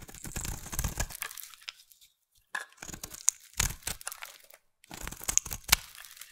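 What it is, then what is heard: Bar of soap being shaved. A solid light blue bar of soap held in the hand is shaved with a utility knife blade, producing bright, crisp scraping and tearing shaves in irregular bursts. Short silent pauses separate the bursts, with a few sharper crackling cuts near the end.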